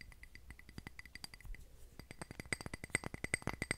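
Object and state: Glass candle jar.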